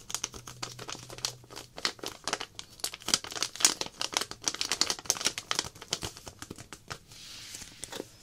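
A small clear plastic zip-lock pouch with a paper label, holding a little glow powder, is held in both hands and crinkled and scratched with long black-painted nails. Dense, bright crinkles and sharp taps come in rapid bursts. Near the end, a softer continuous hiss of rustling is heard.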